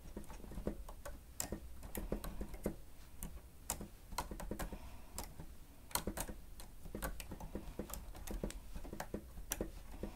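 Fingertips of both hands press and tap the keys of a grey plastic stenotype keyboard with a hollow housing. Quiet, irregular clicks and taps overlap in quick runs, each short and dry with a hollow, low-weighted thump and a bright snap on the sharper strokes.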